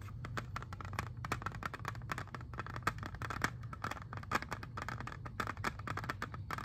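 Fingernails tap rapidly on a hand-sized, hollow, clear plastic CD jewel case holding a disc, producing a dense run of short, crisp clicks with a hard plastic tone. The taps come in irregular bursts over a constant low hum, each click dying away almost instantly.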